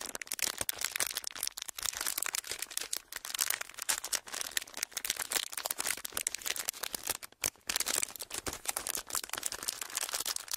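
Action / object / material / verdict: scrape / thin ridged plastic packaging sheet / plastic / none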